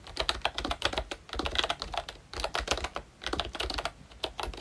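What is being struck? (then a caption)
Plastic membrane keyboard with round keycaps. A full-size ROYCHE Disney Mickey Mouse-themed retro membrane keyboard with round plastic keycaps is typed on continuously with the fingertips of both hands. Rapid, short, bright plastic clicks and taps come in quick bursts, with brief pauses between runs of keystrokes.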